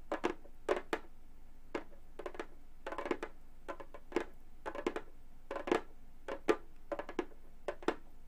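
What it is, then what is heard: Synthetic-head frame drum tapped with metal nails. Gold metal claw nails tap the synthetic head of a hollow frame drum in quick, uneven clusters. Each tap gives a short, dry click with a brief hollow tone around 430 Hz that dies away almost at once.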